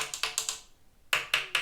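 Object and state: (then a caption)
Metal serger part, not plastic. A metal part inside a domestic serger (overlocker), with visible threads, is tapped seven times: four quick taps, a pause, then three more. Each tap gives a bright, short metallic click that fades within about a tenth of a second. The sound confirms the part is metal, not plastic.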